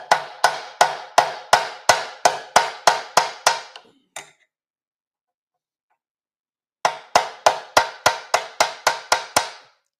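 An aluminum motorcycle gas tank panel is struck 23 times in quick, even taps while a metal dolly is held behind it, in two bursts separated by a pause of about three seconds. Each hit is a short, bright, solid knock that dies away quickly, showing the dolly is backing the panel properly.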